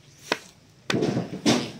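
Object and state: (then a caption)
Sound, uncracked coconut. A good, uncracked coconut is knocked a few times to check its sound, for comparison before a slightly cracked one. Each knock gives a short, solid, hollow thunk with a low-mid tone around 240 Hz and a brief, bright attack that dies away quickly.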